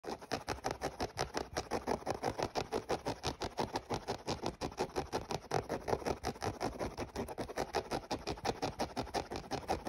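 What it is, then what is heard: Mesh sneaker being scratched. Fingernails scratch rapidly across the grey synthetic mesh upper of an empty, hollow running shoe with laces, near the laces. A steady run of quick, dry scratching strokes, about three per second, repeats for ten seconds with a papery mid-range rasp centred near 750 Hz and little low end. Each stroke stops short with almost no ring.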